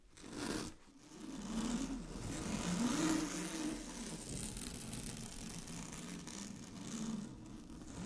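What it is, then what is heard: Satin fabric being scratched. Long glittery fingernails scratch across a large sheet of shiny blue satin, a synthetic fabric lying flat. The result is a continuous bright, hissy scratching rustle with a low murmur beneath. It swells and eases in strokes of varying pace, loudest around the first few seconds.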